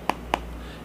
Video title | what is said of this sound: Lg G7 ThinQ Unboxing & First Impressions... What's Missing From The Box?? | it almost sounds kind of like Hollow